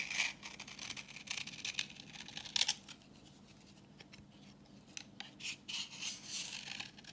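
A solid, translucent reddish bar of dry vintage soap is held in the hand and scraped with a utility knife blade, peeling off orange shavings. The scraping comes as a run of short, crisp, bright rasping strokes, busy at first, then quieter with sparse flicks before picking up again.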